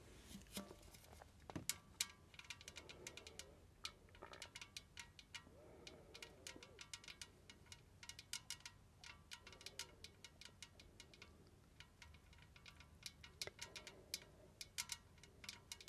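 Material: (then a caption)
Tinplate. Long red nails tap quickly around the sides of a large, hollow, white-painted tin tea caddy with a domed lid, held close to the face. The result is a quiet, steady patter of bright, crisp metallic clicks that die away almost instantly, with faint soft tones between some taps.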